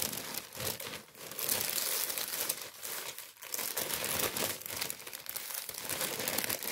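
A tan kraft paper bread bag is held close and crinkled and rubbed by hands. Dense, bright crinkling and rustling run continuously, swelling and easing slightly in loudness, with almost no low end.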